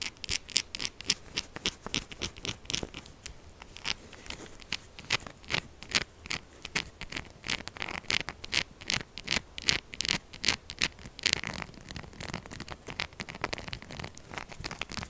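A solid purple soap bar with a quilted texture, held in the hand, is scratched fast with long acrylic nails. The result is a dense run of short, dry, bright scratching clicks and scrapes at an uneven rhythm, with very little low end and no ring after each stroke.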